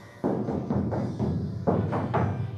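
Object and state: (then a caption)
Sound-deadened steel car roof, damped. Six dull, low knocks on the steel roof panel of a 1968 Camaro coated with Lizard Skin and Barrier Bond sound deadening. Each knock is a short thud centered low with almost no high ring and a quick decay. The panel sounds dead rather than resonant, a sign the sound deadening worked.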